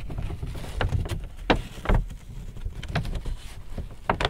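Fingertips tap, rub and crinkle the front of a large, hollow, apparently empty white paper Hudson's Bay shopping bag with handles. Short, dry crinkling snaps and papery taps cut through a soft, continuous rubbing hiss over a dull, hollow low thump. Each sound dies away almost at once.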